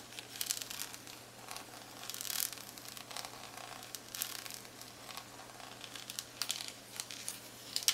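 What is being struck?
Plastic calculator back casing.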